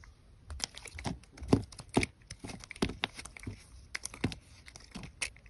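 A hand-sized solid white bar of soap is held in the hand and carved and scraped with a metal box-cutter blade, shaving off thin slices. Close, dry scraping and crisp cutting strokes come in an uneven run of short bursts, some with a sharper snap, with brief quiet gaps between them.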